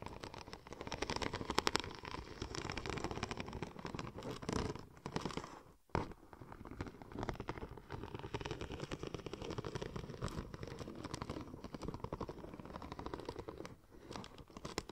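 Long nails and fingertips scratch across the raised pattern of a curved silver checker-plate vinyl wrap sheet. The result is a dense, continuous rasping scratch with rapid ticking textures and a brief pause near six seconds before it resumes.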